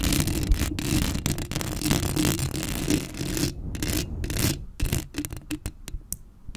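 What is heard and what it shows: Long acrylic nails scratch and rub across the black metal mesh grille of a Blue Yeti microphone. A dense, boomy low rumble mixes with raspy, bright scraping that runs almost continuously at first, then breaks into short, separate scratches toward the end.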